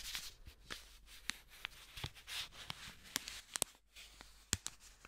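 A single thin blue paper banknote is folded and crinkled by black-gloved hands. A soft, dry rustle runs throughout, punctuated by sharp, bright crackles and snaps as the paper creases. Each snap stops almost instantly, with no ring.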